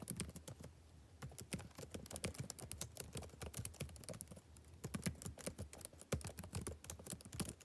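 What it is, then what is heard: Plastic laptop keyboard being typed on. Fingertips type on the left-hand plastic chiclet keys of a backlit laptop keyboard. A steady, irregular run of short, crisp key clicks has bright edges and a soft low thud beneath. The typing eases briefly near the one-second mark and again around four and a half seconds before picking back up.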